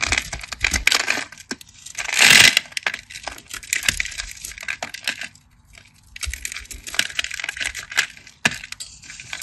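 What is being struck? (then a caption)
Bar of soap cut with a craft knife. A metal craft knife scores and cuts a crosshatch grid into a solid, cream-colored, rectangular, palm-sized bar of soap held in the hand, flaking off small cubes. Dense, crisp, bright scratching and ticking cuts run throughout, with a louder rasping scrape around the two-and-a-half-second mark and a brief near-silent pause just past the midpoint before the cutting resumes.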